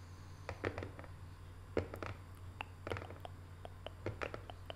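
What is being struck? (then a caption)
Small printed cardboard box. Long nails tap with both hands on the lid of a small, closed, hollow rectangular decorative cardboard box covered in Paris photo prints. The result is a quick, irregular series of soft, dry clicks with a slightly hollow knock, each dying away almost at once over a steady low hum.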